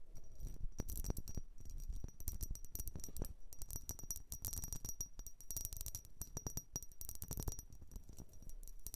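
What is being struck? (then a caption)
Vase. A blue vase is tapped and scratched in a quiet close-up, giving rapid, dense bright clinking hits much like coins. The quick taps stop short with almost no ring, over a soft scratching texture throughout.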